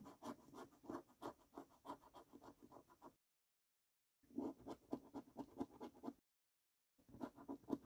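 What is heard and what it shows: A coin scrapes the latex coating off a thin paper scratch card lying on a wooden table. It makes quick, raspy back-and-forth strokes in three bursts separated by short silences, each stroke a short scratchy swish with a low-mid body and bright edges.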